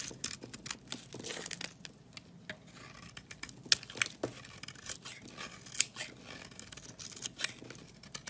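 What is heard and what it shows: A box-cutter blade scrapes powdery flakes off the surface of a solid white bar of soap held in the hand. The result is a quiet series of dry, bright, irregular scraping and crackling strokes, punctuated by a few sharp clicks.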